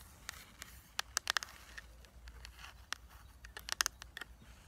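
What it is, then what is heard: Plastic eyeshadow palette. Long nails tap and scratch a flat rectangular eyeshadow palette, a hollow case with a clear plastic lid and black plastic base full of pressed shadows, working over the lid and the printed back. Crisp, bright plastic clicks with no ring land in irregular clusters over a faint, steady scratching hiss.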